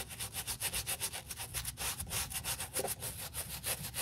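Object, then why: Leather boot scrubbed with a bristle brush. A small wooden bristle brush, held in a gloved hand, scrubs a dusty brown leather boot across the heel, toe and crepe sole edge. Quick back-and-forth strokes make a steady rhythm of bright, dry bristle hiss, each stroke swelling and fading with a soft low rub underneath.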